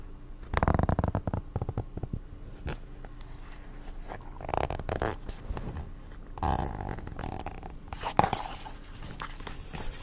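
Long acrylic nails scratch and rub a medium-size teal plastic cosmetic squeeze tube that is hollow with some product inside. Rapid, close scratching and scuffing come in uneven bursts, strongest near the start with louder rubs around the middle and end. The sound is mostly low and muffled, with occasional crisp plastic clicks and little bright hiss.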